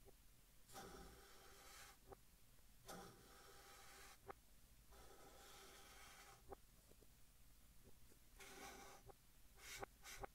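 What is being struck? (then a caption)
Chalk stick on chalkboard. A white chalk stick held in the fingertips writes across a large, flat green chalkboard in a wooden frame, heard in reverse. Bursts of bright, raspy scratching alternate with short quiet gaps, and sharp little taps land at the ends of several strokes over a faint low background hum.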